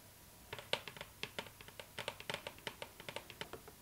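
Long nails of both hands tap on the lid of a hollow cardboard gift box with a glossy floral print, after about half a second of quiet. About 22 quick, bright clicking taps follow in an uneven patter, each dying away almost at once with a faint hollow tone.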